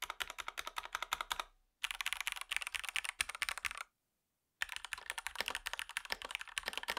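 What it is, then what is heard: Plastic mechanical keyboard with PBT keycaps. Fingertips type on a REXUS DAXA M64 Ultimate wireless gaming mechanical keyboard, a compact 60% board with white, grey and red PBT plastic keycaps and a plastic case, resting on a grey surface. Quick, bright, clacky keystrokes come in three bursts of typing separated by two short silent pauses, each click stopping almost instantly.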